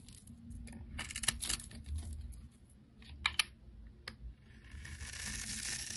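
A utility knife blade scrapes and chips the scored surface of a solid oval green soap bar held in hand. Crisp, bright scraping scratches are broken by a few sharp ticks as chips break off. The clip ends in a steady, hissy scrape.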